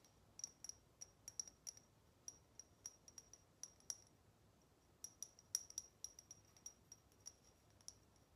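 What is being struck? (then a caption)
Small chrome metal salt shaker. A small, hollow, shiny chrome metal cat-shaped salt shaker is turned in the hands and tapped with long nails on its body and ears. About 28 quiet, sharp, bright clicks are heard in an irregular rhythm, each with a high metallic ping that dies away almost at once.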